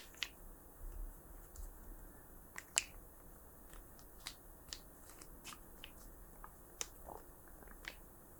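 Hollow plastic art markers are softly tapped, giving a quiet series of short, sharp, bright clicks over a low background rumble. About eight distinct taps are heard, each dying away almost instantly. The markers sound normal, their light, clicky tone coming from the hollow plastic bodies.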